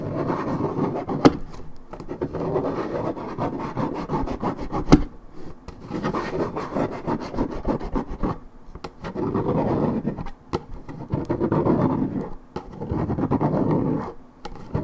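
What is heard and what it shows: Long red nails scratch across the printed panel of a hollow Minute Maid 1.75 L coated paperboard orange juice carton, its fill unknown. Dense, dry rasping scrapes come in sustained strokes with brief pauses, mostly low-mid and dull with little brightness. A couple of sharp clicks stand out early on.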